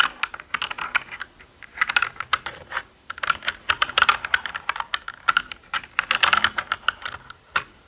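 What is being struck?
Plastic mechanical computer keyboard.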